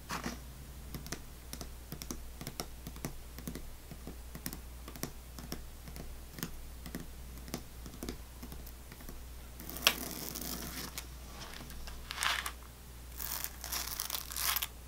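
Long painted fingernails tap and press on pink sugar-coated sour belt candy strips stacked full in a small open clear plastic tub. Quick, dry clicking taps come in a steady run, then give way to louder, bright, crackly scratching and rustling bursts near the end. A low, steady hum sits underneath throughout.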